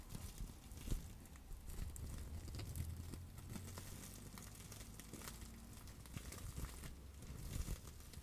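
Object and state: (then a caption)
Plastic bubble wrap. A clear plastic bubble wrap pouch is held in both hands while long acrylic nails tap and scratch it and press the bubbles. Quiet, steady crinkling and soft taps run throughout over a low rumble, with a few louder taps standing out.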